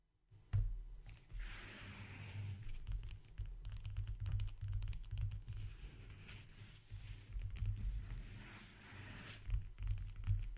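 A closed, flat, briefcase-size brown leather-covered backgammon case, hollow inside and resting on a wooden table, is tapped and scratched with fingertips and short nails. Soft, low, hollow thumps mix with a continuous dry scratching and rustling texture that rises and falls in bursts. The sound stays fairly steady, with a few louder knocks near the start and end.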